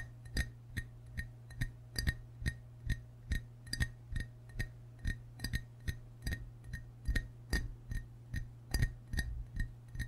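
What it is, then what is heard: Ceramic frog mug. Fingertips and short nails tap the white belly and green sides of a hollow glazed ceramic frog mug held in both hands. Twenty-seven short, quick clinks land in a steady rhythm, each with a faint bright ring near 2 kHz. A constant low hum sits underneath.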